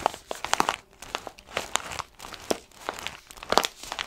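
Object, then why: Foil-lined paper coffee bag. A tall orange foil-lined paper coffee bag with a blue stripe, apparently full of beans, is held upright in both hands and squeezed and scratched with the fingertips. It gives off dry, papery crinkling and crackling in quick bright bursts, with several louder crunches standing out from a steady rustle.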